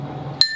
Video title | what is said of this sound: Pick the Perfect Watermelon | can you see the difference in that sound? Much higher.